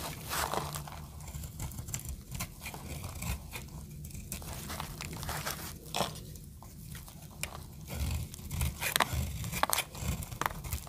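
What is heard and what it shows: A palm-sized solid pink marbled bar of dry soap is held in one hand while a small metal blade cuts and scrapes thin flakes off its surface, the shavings falling onto a pile below. Dense, crisp crunching and scraping strokes overlap throughout, with bright snaps standing out near the end.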